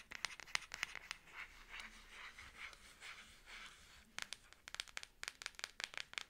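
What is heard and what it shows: A Samsung smartphone in a black plastic back case with a camera cutout is held in both hands while long acrylic nails scratch across its back. Quick, bright clicks open the clip, give way to softer, hissy scraping strokes in the middle, then return as a rapid run of sharp taps. There is almost no low end, and each click dies away instantly.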